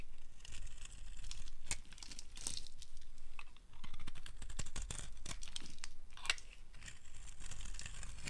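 A solid light blue oval dry soap bar, held in the hand, is shaved with a metal blade so curls form. The carving gives dry, crackly scraping with many short crunchy ticks and brief brighter snaps, over a steady low rumble.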